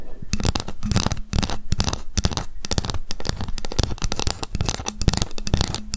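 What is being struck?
Ruler tapped with long fingernails.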